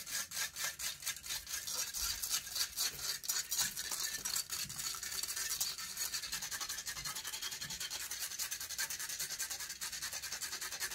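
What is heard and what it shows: Long fingernails rapidly and aggressively scratch the hollow metal mesh grille of a silver condenser microphone. The result is a dense, irregular stream of bright, raspy scrapes, quicker than three per second, with almost no low end and no ring after each stroke.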